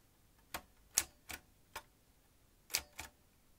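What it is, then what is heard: Manual typewriter keystrokes. Fingertips tap the keys of a vintage metal manual typewriter as its carriage moves across. Six sharp, bright, dry clacks come at an uneven pace, each dying away almost at once, with quiet between them.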